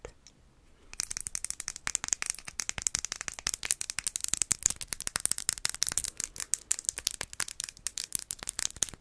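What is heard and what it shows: Long acrylic nails tap and scratch quickly over a small, faceted, clear glass perfume bottle that is held in the hands and appears filled with perfume. After about a second of near-quiet, a dense stream of sharp, bright clicking taps begins, with almost no ring after each one and little low end, and continues to the end.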